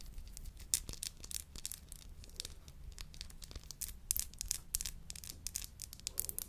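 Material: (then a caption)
Glass. Long nails scratch and tap the sides of a tall, narrow, hollow clear glass bud vase with a dark base. The result is a quiet, steady run of quick, bright clicks and dry scratching rasps, each dying away almost at once with no ring.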